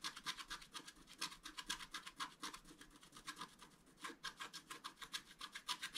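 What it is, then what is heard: Scratch-art paper card. A wooden stylus scratches and rubs the coating of a flat, black-coated scratch-art paper card with a fountain design, in quick strokes while the left hand steadies the card. A rapid series of dry, bright, raspy scratches is heard, each short and crisp with almost no low end.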